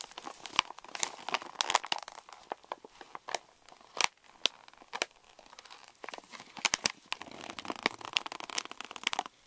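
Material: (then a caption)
Plastic foil. Both hands crumple and crinkle the top of a pink Reese's candy pouch made of plastic foil laminate. The result is a dense run of bright, dry crackles and crinkles with sharp snaps scattered throughout and almost no low end. Each snap cuts off instantly with no ring.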